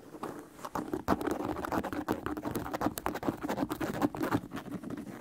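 An empty white leather sneaker is held upright while fingertips tap and scratch the leather upper near the laces and the heel. The result is a dense, rapid patter of soft, dry taps mixed with scratchy rubbing, each tap carrying a low hollow knock and dying away almost instantly.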